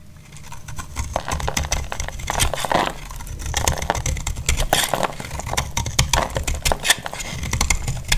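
A solid, dry orange bar of soap is held in the hand and shaved with a utility-knife blade, its flakes crumbling onto a grey cloth. Dense, crisp scraping and crackling come in quick, bright bursts over a steady low rumble, and the shavings patter softly as they fall.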